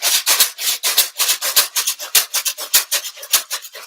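A square carton partly filled with rice is shaken as a homemade shaker in a fairly steady rhythm, giving bright, hissing rattles of grains with short, quick-fading bursts. The square shape makes it harder to shake than a smooth round container, and its sound changes with how much rice is inside.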